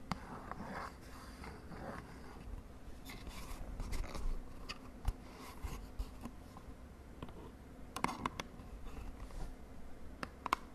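Long nails tap the end and sides of a small, hollow purple cardboard cosmetic box held upright. Sharp, dry clicks ring out over a steady low hum, with scratchy rustling between the taps.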